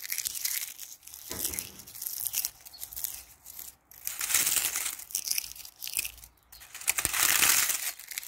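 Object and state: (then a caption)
Dry ivy leaves. A hand with long painted nails plucks a handful of dry brown ivy leaves from a brick wall in a back garden, then crushes and crumbles the brittle leaves between fingers and palm. The sound is bright, dry crackling and crunching with tearing textures, coming in uneven waves of rustling bursts separated by short quiet gaps.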